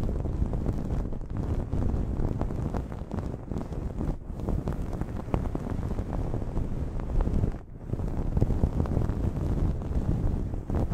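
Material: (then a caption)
Cotton terry. Long nails scratch the edge of a blue cotton terry cloth towel draped over a microphone. The result is a continuous, muffled, low, rumbling scratching with dense fine crackles and little high end. It briefly drops away about three quarters of the way through, then resumes.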